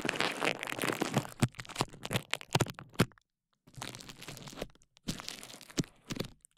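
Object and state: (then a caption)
Plastic bubble wrap being popped. Clear plastic bubble wrap draped over a KU100 dummy-head microphone is squeezed, rubbed and popped by hands at the sides. Dense, bright crinkling runs under a string of sharp, dry pops. There is a brief silence just after three seconds, then the crackling and popping resume in bursts.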